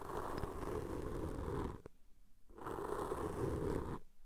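A cotton swab tip, held in fingers with long nails, pokes and rubs the black foam windscreen on the left microphone. It makes a dense, crackling scrub with a low rumble, in two sustained stretches separated by a short quiet gap with a faint tick.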